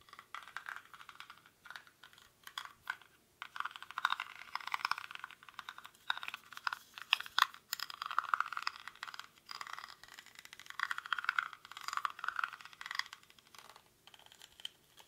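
Fingernails scratch the weave of a small, hollow woven rattan/reed basket held in both hands, its contents not visible. The result is a dry, crackly scraping in rapid bursts, bright and centered in the mid range, with short pauses between strokes and no low end.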